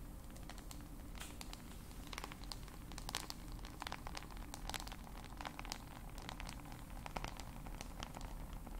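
Long acrylic nails tap and click rapidly across the glass screen and hard back of a solid black handheld smartphone. The sharp, bright ticks scatter unevenly throughout, each dying away almost instantly, over a steady low hum.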